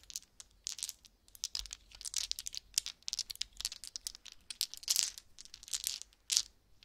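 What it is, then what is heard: Resin polyhedral dice shaken in hands. About seven small solid resin/acrylic polyhedral dice with purple-green swirls and numbers are shaken together in cupped bare hands over a soft purple blanket. Quick bursts of bright, dry clicks and clacks rattle in and out, with almost no low end and no ring after each knock.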